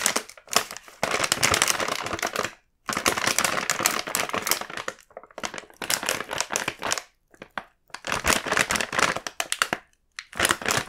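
A full red plastic-film KitKat bag is held in both hands, shaken and turned, giving dense, bright crinkling and crackling in bursts with brief silent pauses between them.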